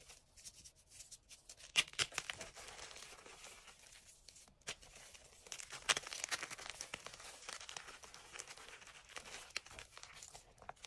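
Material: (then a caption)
Chalk. Soft, brittle chunks of white and green-dyed gym chalk, sitting with loose powder in a cream enamel bowl, are crushed and crumbled between bare fingertips and palms. The result is a quiet, dry, high-pitched crunching and crinkling that runs continuously. Two sharper cracks stand out near 2 and 6 seconds.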